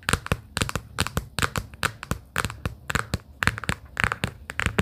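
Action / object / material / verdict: tap / small cardboard sticky-note case / cardboard / none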